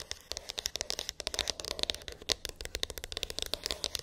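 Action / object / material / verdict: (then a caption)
tap / small cardboard phone box / cardboard / none. Long pink acrylic nails tap and scratch a small, hollow white cardboard iPhone box with an embossed, textured lid; its contents are unknown. The result is a quick, uneven run of crisp, dry clicks with faint scratchy rustle between them. Each tap is bright and ends instantly with no ring.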